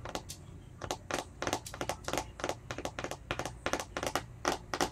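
Fingertips and short nails tap and scratch the sides and lid of a small round translucent plastic tub with a label, filled with green slime and held in both hands. The result is a quick, irregular run of short, bright plastic clicks and scratchy crinkles with very little ring, over a faint low hum.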